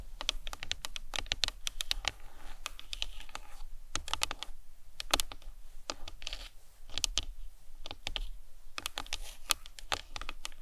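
Long nails tap rapidly on the top and sides of the cranium of a hollow plastic anatomical skull model. The result is a steady stream of short, bright, clicky taps that die away almost instantly, over a faint low rumble.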